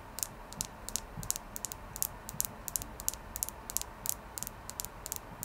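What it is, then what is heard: Clear quartz crystal. Fingernails tap on a clear quartz crystal in a quick, uneven series of short, bright ticking clicks. Each click is sharp and dies away almost at once over a faint steady hiss.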